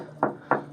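Two firm taps on the main fiberglass bulkhead of an old catamaran hull produce short, dull knocks centered in the low midrange that die away quickly. The bulkhead sounds solid, and the apparent crack on it is only in the paint.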